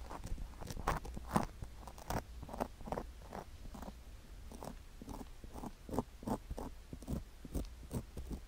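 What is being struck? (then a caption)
Silicone ear microphone coated with sugar crystals, scraped with a wooden stick. A wooden stick scratches along the rim and inner ear of a white silicone ear microphone coated with sugar crystals. Short, gritty crunching scrapes repeat in quick bursts over a steady low hum. Some strokes land louder and brighter than the rest.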